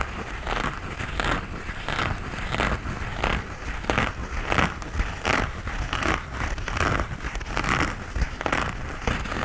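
Fingernails scratch and rub the knit upper of an empty light grey knit textile running shoe held up close. The result is a steady run of dry, rhythmic scratching strokes with a soft crinkly texture over a faint low rumble.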